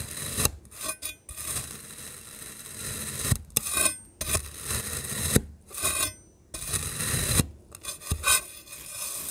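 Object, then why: Kinetic sand ring cut with a metal knife. A rainbow metal knife cuts a solid black and pink kinetic sand ring into chunks, making crumbly scraping cuts. Each stroke is a bright, gritty rasp over a soft low rumble, separated by brief quiet pauses.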